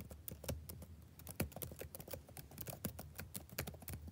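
Fingertips type fast across the keys of a black plastic backlit laptop keyboard. The result is a quick, uneven stream of short, soft clicks, each with a low thump and a brief bright tick that dies away almost at once.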